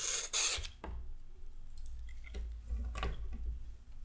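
A raw carrot is peeled with scraping strokes of a handheld peeler, and thin orange strips come off. Two loud, bright rasping scrapes open the clip, followed by softer scraping strokes over a steady low rumble.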